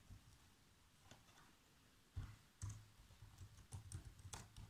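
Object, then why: Plastic laptop keyboard. Bare fingertips with short nails tap keys on a black plastic laptop keyboard in continuous, uneven typing. Soft, low thuddy key presses come with faint bright clicks, a few strokes landing noticeably harder than the rest, and each sound dies away almost at once.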